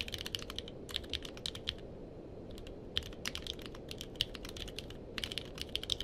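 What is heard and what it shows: A purple-cased mechanical keyboard with plastic keycaps is typed on with the fingertips of both hands, giving quick bursts of sharp, bright clicks with pauses between them. A steady low background hiss runs underneath.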